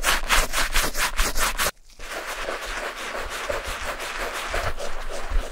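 A gloved hand scrubs the foamy, shampoo-covered upper of an old light beige Clarks suede leather shoe with a wooden-handled bristle brush. Quick, rhythmic wet brushing strokes give a bright, hissing rasp. After a brief pause, the scrubbing resumes as a softer, steadier foamy rub.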